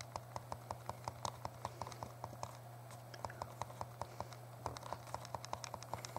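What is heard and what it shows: A small, hollow, translucent purple plastic Game Boy Color is held in both hands while the thumbs quickly press and tap its buttons. About 38 short, sharp plastic clicks come in a fast, fairly steady rhythm, each one dying away almost instantly. A steady low hum runs underneath.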